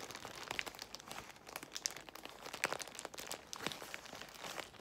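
Long nails scratch across a large bundle of clear plastic bubble wrap while fingertips squeeze its air bubbles. The result is dense, bright crinkling broken by quick, sharp crackles and small pops, with almost no low end and no ring after each snap.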